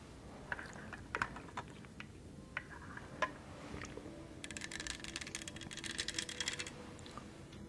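Long nails tap and click on the textured, studded surface of a tall, hollow green plastic tumbler held beside the mic. Scattered sharp, bright clicks give way midway to a dense flurry of rapid tapping and scratchy clicking, all quiet and dry with no ring.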